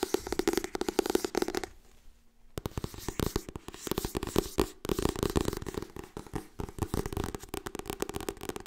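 Long nails scratch and tap quickly across the glossy cover of a solid Harry Potter hardcover book, and fingers riffle its pages, making a dense stream of short, crisp clicks with a hollow low-mid body. The rapid clicking drops to near silence for about a second, then resumes just as busy to the end.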